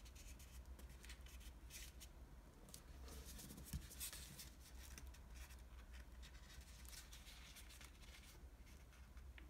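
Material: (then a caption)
Paper. Fingertips fold an already-folded green floral washi origami paper sheet and rub its creases flat. Quiet, soft papery rustles and brushing strokes come in short bright bursts over a steady low hum, with one slightly louder rub near the middle.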